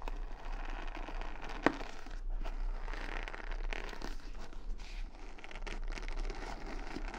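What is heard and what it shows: Long nails scratch and flick the bristles of a wooden paddle hair brush with beads and rhinestones, held close to the mic. The result is a steady, soft, crinkly scratching texture with a low rumble underneath, broken by one sharp, brief flick-like click.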